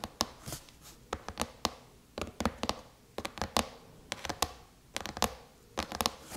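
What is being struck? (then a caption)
Aluminum laptop lid tapped with fingernails. Long chrome-painted nails tap on the surface of a silver aluminum MacBook lid in quick bursts of crisp clicks. The taps are sharp and bright, with a short metallic ping that fades almost at once.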